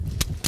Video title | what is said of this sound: 벚꽃 피면 먹지 말라는 굴. 피 가득 영양 품은 꼬막. #입김 나면 생각나는 겨울 진객 굴, 꼬막 | 싱싱한 것은 차돌 소리가 이렇게 땅땅땅땅 나야 돼.